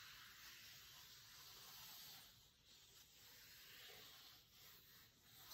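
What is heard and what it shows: Fingertips rub, scratch and tap across the textured cover of a large, closed, cloth-covered hardcover cookbook. The result is a quiet, steady, high-pitched scratchy rustle with a hissing texture and slight swells, and no distinct separate hits stand out.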